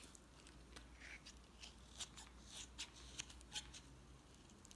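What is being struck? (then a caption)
Bar of soap scraped by a utility knife blade. A utility knife blade repeatedly scrapes and shaves thin layers off a solid red bar of soap held in the hand. Quiet, bright, crisp scraping strokes come at an uneven pace, with a few sharper shaving sounds standing out over a low, steady background hum.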